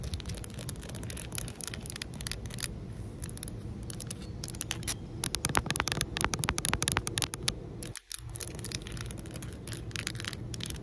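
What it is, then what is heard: Solid concrete pavement. Long nails scratch and tap on flat, solid outdoor concrete pavement, making a fast, irregular run of bright clicks and gritty scrapes over a low rumble. The taps cluster most densely in the middle of the clip, and the sound drops out briefly near the eighth second before the scratching resumes.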